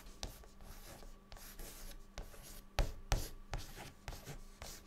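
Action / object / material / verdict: scrape / chalk stick on a chalkboard / chalk / none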